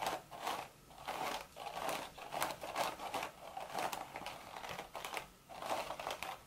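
Long, sharp red nails scratch and tap the hollow crown of a cream woven straw hat. Quiet, dry crinkly scratching comes in repeated swells, centered in the midrange with a bright, rustling texture. Short tapping clicks are heard between the strokes.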